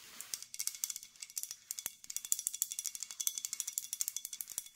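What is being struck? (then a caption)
Glass olive oil bottle with cap. Long nails tap and scratch the body and base of a full, dark green glass olive oil bottle with a cap. Dozens of rapid, dry clicks come in an uneven run, almost all bright and high with no low end. They give a ratchet-like sound that may come from the cap.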